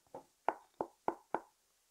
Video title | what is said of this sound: Kleinst-PV-Mikrowechselrichter von Ama… – eine Alternative? | das ging nicht so hohl weil das ist vergossen